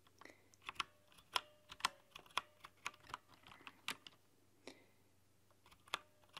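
Long nails tap irregularly on the translucent plastic keycaps of a mechanical keyboard with a cyan-to-green backlight, giving about 15 quiet, sharp, bright clicks. Each click is crisp and dies away almost at once, with short gaps between them.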